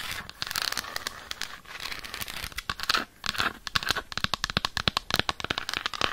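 Long acrylic nails tap and scratch the surface of an unwrapped solid dark chocolate bar held in the hand. Bursts of crinkly scratching give way to a fast run of sharp, bright clicks with almost no ring.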